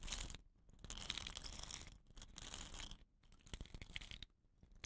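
Fingertips and nails scratch the woven rattan binding on the ends of a hollow, dot-painted bamboo rain stick and roll the tube. The result is bursts of crackly, crunchy scratching with a bright, hissy top, separated by brief quiet gaps.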